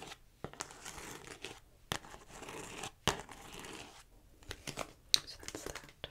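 Long nails tap and scratch the front of a hollow, hard plastic DVD-style Grand Theft Auto PlayStation 2 game case held in the hand. Bright, dry scratching and crinkly rustling run between sharp, clicky taps that stop at once with no ring.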